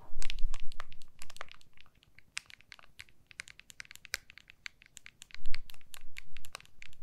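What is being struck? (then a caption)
Smartphone in a hard plastic case. Long manicured nails tap and scratch the back of an iPhone in a clear plastic MagSafe case with a white Apple logo, held horizontally in both hands. Rapid, crisp, bright clicks and ticks scatter throughout, with soft scratchy rubbing and low, muffled handling bumps near the start and again past the midpoint.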